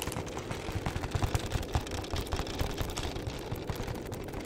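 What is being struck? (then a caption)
Film-wrapped cardboard chocolate box. Fingertips and nails tap and scratch a flat, hollow printed cardboard box of chocolates, apparently sealed in film. The result is a rapid, continuous run of soft, dull taps with a low hollow thump beneath, mixed with a light scratchy rasp.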